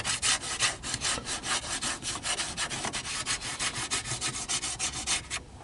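Fingertips and nails scratch and rub across the slats of a small, hollow, dark plastic car dashboard air vent with louvers and small slider tabs. About twenty quick, dry, bright scratching strokes come in an uneven rhythm, each a short raspy burst with little low end and almost no ring.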